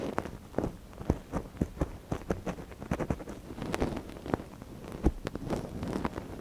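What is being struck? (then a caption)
Silicone dummy ear on a binaural microphone, scratched with a wooden ear pick. A thin wooden ear pick, held in a gloved hand, scratches inside the ear canal of a small, hollow white silicone dummy ear on a binaural microphone. Many short, dry scrapes and taps follow one another in an irregular rustling patter, with low thumps and little high sparkle.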